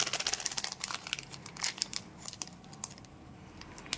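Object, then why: Plastic foil candy wrapper. A small, colorful Cadbury Gems plastic foil candy pouch filled with candies is held in both hands, crinkled with the fingertips and torn open. Bright, dry crinkling and crackling come in dense bursts at first, thin out to softer rustling, and end in a sharp crackle.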